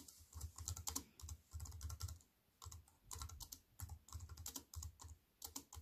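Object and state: Compact plastic-key keyboard being typed on.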